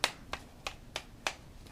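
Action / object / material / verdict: tap / headphone headband / thin foam / hard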